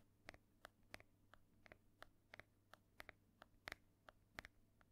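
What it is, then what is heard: Hardcover book tapped with nails. Long nails tap and scratch quickly across the cover of a solid, ornate embossed hardcover book held up close. About fifteen short, dry clicks with a bright peak near 1.9 kHz sound over a faint low hum, and each dies away almost at once.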